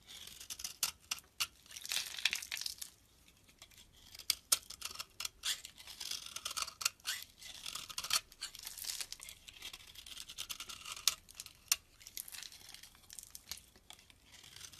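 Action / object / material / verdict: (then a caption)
scrape / bar of soap scraped with a blade / soap / none. A hand-held solid yellow-brown bar of soap with red remnants is scraped by a utility-knife blade that peels off curly shavings. The sound is a quiet, bright, crackling scrape with many short, sharp ticks and bursts, separated by soft pauses and carrying almost no low end.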